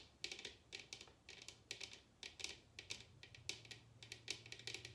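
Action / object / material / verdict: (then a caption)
tap / upside-down bamboo wooden bowl / bamboo / none. A large, hollow bamboo bowl turned upside down is tapped and scratched with long red nails. Quick, bright clicks and taps come in clusters over a faint low hum. Each hit dies away almost at once, leaving a crisp, hollow clatter.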